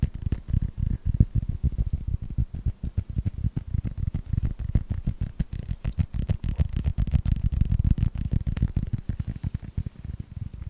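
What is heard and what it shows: A hand-sized, hollow, yellow rubber toy ball in the Pixar style, with a red star and blue stripe, is tapped and scratched with fingertips and short nails. It produces a rapid, uneven stream of soft, dull, low thumps around 100 Hz that die away almost instantly, with faint scratchy hiss between them.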